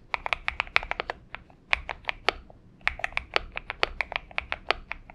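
Fingertips of both hands type on a purple Xinmeng M71 mechanical keyboard with PBT keycaps. A quick, uneven run of sharp, bright key clicks centers around 2.3 kHz, each one dying away almost instantly, with a short pause in the middle and very little low end.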